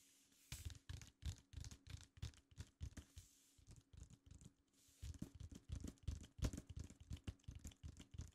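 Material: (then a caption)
Paper card. Fingertips of both hands tap and lightly scratch across a large, flat, red printed paper or card tracklist insert from a vinyl record lying on a desk. About thirty quiet, irregular taps land as soft, dull low thumps with brief bright scratchy edges, over a faint steady hum. After a short lull near the middle, the tapping resumes slightly louder.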